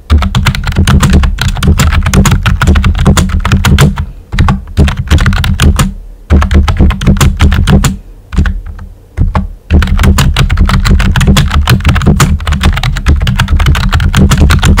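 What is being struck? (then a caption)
Plastic computer keyboard with round keycaps. Fingertips with short nails type steadily on a full-size, hollow-bodied pink plastic computer keyboard with round white typewriter-style plastic keycaps. Rapid clacking keystrokes with a deep, hollow thump underneath run continuously, broken by brief pauses around 4 to 6 seconds and 8 to 10 seconds before fast typing resumes.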